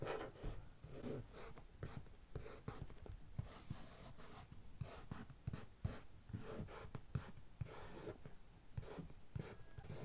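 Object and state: Cardboard box, scratched and tapped.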